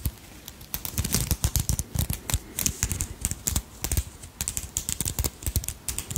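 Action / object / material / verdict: tap / beaded brooch with crystal centre / glass beads / none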